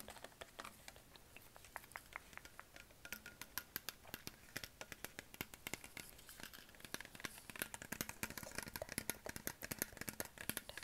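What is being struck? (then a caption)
Plastic water bottle. A hollow green Perrier PET plastic sparkling water bottle is tapped with fingertips and nails on its label and upper body. A quick run of short, bright, dry clicks and taps follows, growing denser and louder toward the end over a soft hiss. Each tap dies away almost at once.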